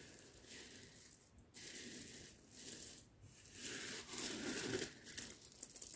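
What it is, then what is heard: Roasted coffee beans. A pile of loose roasted coffee beans on a cloth mat is scooped up in cupped hands, dropped, and stirred by fingers. The result is soft, bright, crunchy rattling in uneven swells, ending with sharper clicks as the beans fall and knock together.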